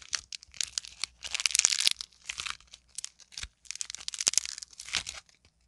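A solid, fist-sized lump of green and teal modeling clay is squeezed, torn and pressed by fingertips and long nails. It makes bursts of bright, dry crackling and tearing crunches separated by short silences, with almost no low end. The sounds stop sharply with no ring.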